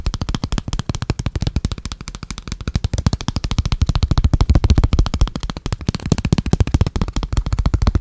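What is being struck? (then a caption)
Plastic folio phone case. A small, hollow, black folio-style plastic phone case is held in the hands, opened and closed, and tapped and scratched with fingertips and short nails. It gives a fast, uneven stream of dull, low, hollow taps with almost no ring. Faint scratching runs between the taps throughout.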